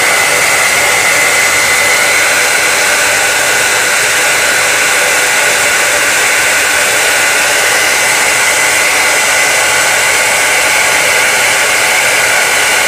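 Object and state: Nothing is struck.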